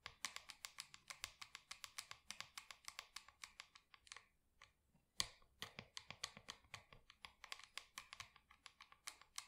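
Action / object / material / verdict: tap / small plastic plant pot tapped and scratched with long nails / plastic / none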